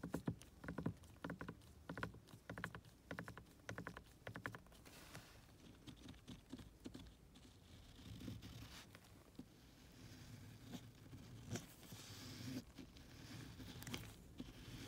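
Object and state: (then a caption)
Plastic car door grab handle. Gloved fingertips with long nails tap and scratch along the edge of a hollow, molded black plastic inner door handle and armrest recess fixed in a car door. Rapid, dry clicking taps dominate the first few seconds, then give way to softer, continuous scratching with occasional sharper ticks. The hollow plastic gives the sound a low, boxy body.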